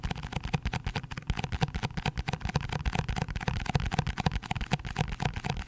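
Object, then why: Cardboard box. A cardboard box is tapped quickly and hard in a rapid, continuous run of short, dry hits. Each tap is a low, hollow thud with little ring and only a faint bright edge.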